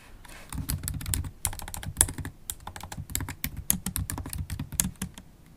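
A MacBook Pro keyboard, with black plastic keys set in a solid silver aluminum laptop body, is typed on rapidly with long, pointed holographic acrylic nails and fingertips. A fast, uneven stream of sharp, bright clicks and taps rides over a soft, low thudding from the keys bottoming out. Each stroke dies away almost instantly.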